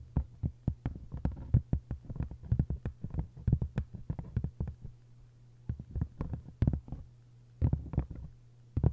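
Flat hands rub and long nails scratch and tap the paper jacket of a hardcover book, making a rapid run of short, dull taps with brief bright clicks. The tapping pauses briefly midway, then resumes in scattered bursts over a steady low hum.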